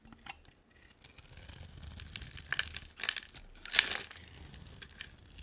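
A hand-sized solid purple bar of soap with a dark coating is held in one hand and scraped and carved into thin shavings with a utility knife blade. The scraping makes a dry, bright crinkling and crunching that builds in the middle, with a few crisp snaps and the sharpest crack near the end before it settles back to soft scratching.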